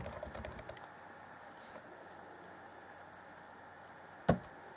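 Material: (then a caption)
Plastic. Fingertips type on the black plastic chiclet keyboard set in the grey deck of a 2014 Acer Chromebook C20. A quick run of light, soft keystrokes gives way to a quiet stretch, and one sharp, louder key tap follows near the end.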